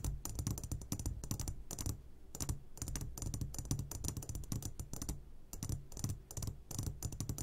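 Fingertips tap rapidly on the sides of an upside-down clear glass jar full of hard candies. The result is a dense, fast patter of short, bright clicks over a low thudding body, with brief pauses near two and five and a half seconds.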